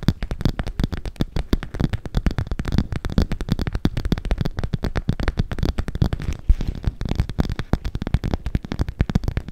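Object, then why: Clear PVC cosmetic pouch. Long acrylic nails scratch and tap the plastic film of a soft, hollow, clear PVC makeup bag with pink edging, held up in both hands. A rapid, continuous stream of short, dry taps and scratchy rustles keeps going, weighted toward dull low thumps with little high sparkle. Each tap dies away almost at once.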